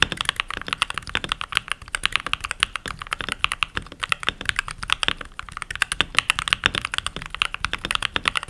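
Fingertips with short nails and rings on the fingers type continuously on a full-size backlit mechanical keyboard with pink plastic keycaps. The result is a steady, rapid stream of bright, crisp plastic clacks, each click dying away almost instantly, with very little low end.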